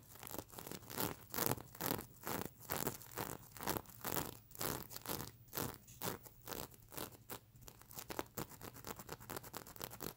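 A fingernail scrapes back and forth across the plastic sequins of a stuffed mermaid unicorn plush pillow, flipping them over. Quick, crisp scratching strokes repeat at about two per second, each a broadband, bright rustling swish with slight crackle and no ring.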